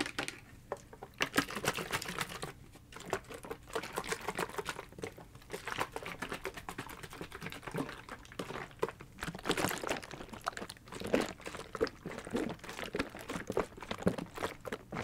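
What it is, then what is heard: Plastic ice pack filled with gel. A blue hard-plastic ice pack, about 20 cm long and filled with liquid or gel, is tapped with fingertips and nails and shaken. Quick, crisp clicking taps run continuously, mixed with soft sloshing of the liquid inside. The taps are dry and short with almost no ring.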